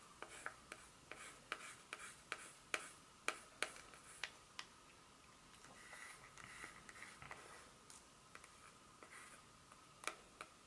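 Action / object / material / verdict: tap / dark chocolate bar / chocolate / none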